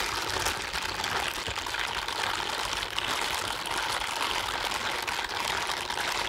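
A pair of blue silicone scrubbing gloves worn on both hands, with the palms rubbed and slid against each other. The result is a steady, bright, hissing rub with a squeaky, textured grain and almost no low end. It holds at an even level throughout.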